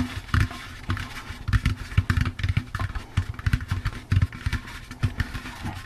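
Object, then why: Plastic pumpkin candy bucket. A hollow, empty orange plastic jack-o'-lantern candy bucket with a wire handle is tapped with the fingertips on its sides and rim. The result is a quick, uneven run of soft, hollow thumps with a deep, boomy body and brief, dry decay, each tap dying away almost at once.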